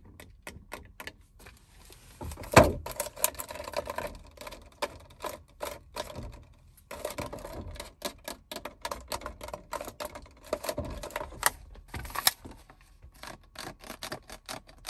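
A small clear plastic water bottle with a white cap, mostly full of water, is moved in and out of a car cupholder by a hand with long red acrylic nails. Quick, sharp nail taps and crinkly plastic squeezes run throughout, with one louder knock near the start.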